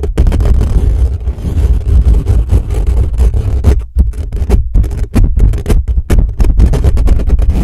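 Fingertips of both hands rapidly scratch and tap the bare, hollow metal mesh grille of a black condenser microphone, at times with flat hands pressed over the top. The result is a dense, boomy, low-heavy rumble of scraping and thumping, broken by many short, sharp bursts and brief dips.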